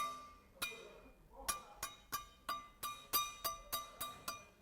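A freshly poured metal casting in a sand mould, left for a couple of hours and still warm, is struck 11 times in a ring test to check whether it has set all the way through. Each hit gives a bright, clinking metallic ring centred near 1.2 kHz that fades within a fraction of a second. The ringing suggests the casting is fairly solid and ready to be moved.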